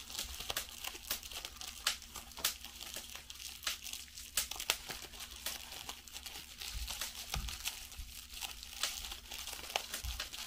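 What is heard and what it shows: A small piece of clear plastic bubble wrap, held up in both hands, has its bubbles pinched and popped with fingertips and long nails while a larger sheet lies aside. The result is a quiet, continuous run of bright crinkling and sharp little pops over a faint steady low hum.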